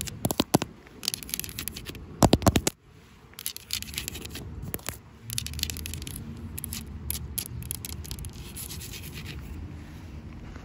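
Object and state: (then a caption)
Glazed ceramic planter pot. Long pale-blue acrylic nails tap and scratch the curved outer wall of a large white speckled glazed ceramic planter pot outdoors, hollow and filled with soil and a plant. Sharp, bright clicking taps come in bursts during the first few seconds, then give way to steady, dry scraping and rubbing over a low background rumble.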